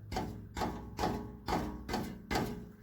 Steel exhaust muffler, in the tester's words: there's a baffle inside it's breaking loose it's broken loose on this end but not farther up